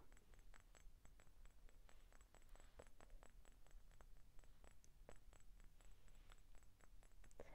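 Short painted fingernails tap and lightly scratch the embossed body of a hollow vintage pale green glass Coca-Cola bottle with a little liquid at the bottom. Quick, faint clicks and scratches sit over a steady low, purr-like rumble, all very quiet and close.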